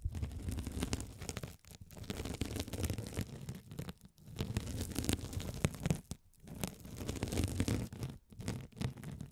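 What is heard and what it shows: A hand-sized blue glitter mesh scouring sponge, soft and solid with a sparkly woven mesh cover, is held over the microphones and scratched by a rolling gold metal spiked roller. The result is a dense, low, rumbling scratch with bright crackly grit on top, coming in steady bursts separated by brief near-silent pauses.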